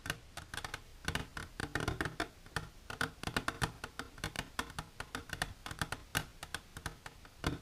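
Long silver nails tap rapidly and irregularly on the front wall of an empty, hollow, transparent hard plastic container held upright. Each tap is a short, dry click with a bright edge and a faint low, hollow body, dying away almost at once. The taps come in quick bursts with brief pauses between them.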